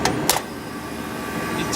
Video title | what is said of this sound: Refrigeration Life # 15 . 6 Door Freezer Down ... Again. | You tap it, hear it come on. The pressure control's sticking and going bad.